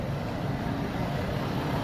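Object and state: Nothing is struck.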